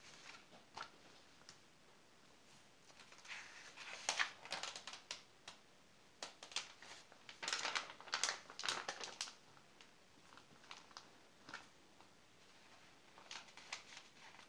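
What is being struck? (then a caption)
Glossy paper magazine pages. A palm flattens the spread of an open glossy paper magazine, then a hand grips and turns a glossy page. Quiet, bright crinkling and rustling comes in short, irregular bursts with brief slides and soft taps between them. The swells are loudest in the middle of the clip.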